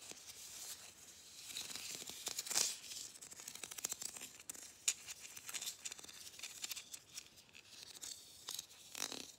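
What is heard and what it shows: Fingernails rapidly scratch along the ribbed grooves of a hollow, matte gold plastic Christmas bauble and tap its surface. The result is a fast, bright stream of dry scratches and short clicks, almost entirely in the high frequencies with no low end.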